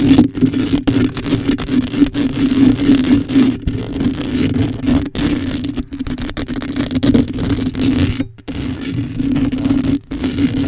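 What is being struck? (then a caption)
Metal mesh microphone grille. Long acrylic nails scratch quickly and continuously across a hollow black metal mesh microphone grille, making a dense, bright rasping sound over a steady low hum. The scratching runs without letup except for brief pauses near eight and ten seconds.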